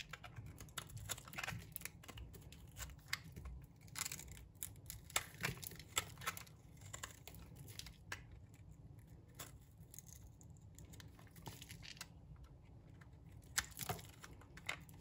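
A metal utility blade shaves and scrapes curls off the surface of a solid, dry pink bar of soap held in a palm with long dark nails. The result is a steady run of quiet, crisp, bright scraping and crackling strokes with a soft low rumble underneath, each stroke dying away almost instantly.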